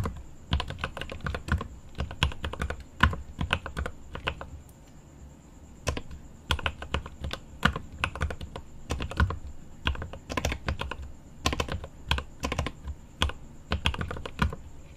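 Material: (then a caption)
Plastic. Both hands type with their fingertips on a mechanical keyboard with plastic keycaps and an aluminum case, giving rapid bursts of deep, thocky clacks with short pauses in between, including a brief lull near the five-second mark. A faint, steady high tone runs beneath the keystrokes throughout.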